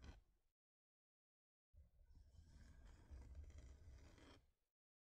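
Long nails scratch across a thin, flat, solid wooden heart-shaped plaque. A brief scrape is followed by about a second of silence, then roughly three seconds of continuous, rough scratching with a low, rumbling body that grows slightly louder before stopping.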